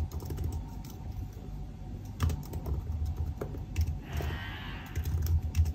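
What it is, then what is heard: Laptop keyboard with plastic keys. Fingertips type rapidly on the black plastic keys of a silver aluminium laptop keyboard, producing a steady run of soft, low, dull key taps with very short decay. Midway through, a brief bright hiss rises behind the tapping and then fades.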